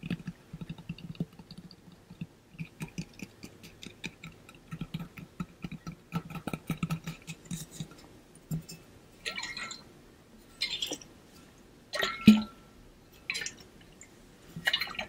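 A pink-blue ombre stainless steel water bottle with water inside is tapped with fingertips and shaken. Soft, quick taps with a low hollow ring around 200 Hz come first. Later, bursts of bright, splashy sloshing follow as the water moves inside the metal bottle.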